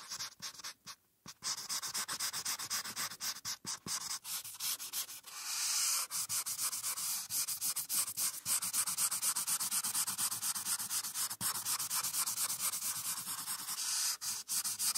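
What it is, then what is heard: Marker scribbling on paper over a clipboard. A marker's felt tip scribbles and rubs across a printed paper coloring sheet on a clipboard. It makes a dense, bright, scratchy hiss of quick strokes with almost no low end. After a brief pause near the start, it runs steadily, swelling into a longer smooth rub around the six-second mark.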